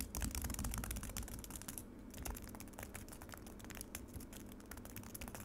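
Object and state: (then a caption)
Frozen lemonade in a plastic tray. Long nails tap quickly on frozen lemonade in a black plastic tray. Rapid, somewhat irregular crisp clicks with bright edges sit over a low, steady rumble, each tap dying away almost instantly. The tapping starts louder and settles into a quieter, continuous patter.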